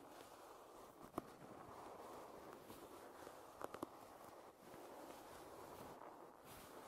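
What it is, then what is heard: Wooden hairbrush. Long red-painted nails scratch and tap the solid back of a light wooden paddle hairbrush lying bristles down. A steady, soft scratching hiss centered in the low mids runs throughout, broken by a few sharp, dry taps that die away instantly, one near the start and a quick cluster in the middle.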